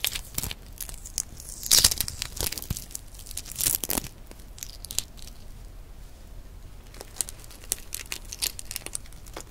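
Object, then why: Hard-boiled egg with eggshell. Long nails pick at and peel cracked shell pieces off a single hard-boiled brown egg, partly peeled with the white showing and held close to the mic. Bright, crackly tearing and crinkling runs throughout, with short sharp shell snaps and louder crunchy bursts around two and four seconds before it settles into quieter, scattered clicks.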